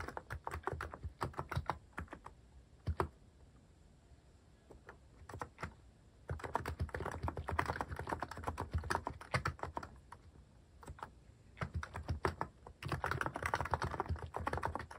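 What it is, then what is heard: Mechanical keyboard with plastic keycaps. Fingertips type quickly on a cream mechanical keyboard fitted with sculpted plastic cat and paw keycaps, producing dense bursts of short, crisp clacks with a deep, low thock under each keystroke. The typing comes in flurries separated by brief near-silent pauses, with the busiest runs in the middle and at the end.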